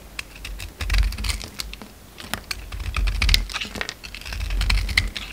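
A utility knife blade scrapes and cuts away the purple glitter coating from a solid white oval bar of soap held in the hand. A rapid run of short, dry, bright scraping clicks and crisp crumbly shaves comes over a low handling rumble. The sound swells and fades in a few waves.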